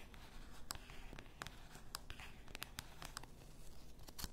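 Long nails tap and scratch the sides and neck of a full bath salt bottle, likely glass. Quiet, scratchy rustling runs underneath sharp, bright clicking taps that die away almost at once, over a low, soft background rumble.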